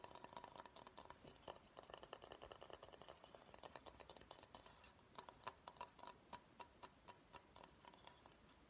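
Fingernails tap the outside of a medium, empty bamboo bowl in quick, dense patter, then tap the rim and inside as the bowl is tilted, giving slower, separated knocks. The taps are quiet, dry and clicky, with a faint hollow tone around 1 kHz that dies away almost at once.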